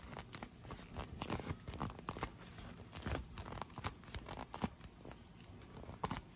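An inflated clear PVC vinyl pool lounge, hollow and air-filled, is tapped and scratched with long nails along its tubes. The clip is a dense run of quick, dull taps mixed with crinkly, tearing scratches, each dying almost at once, with most of the energy low and little brightness.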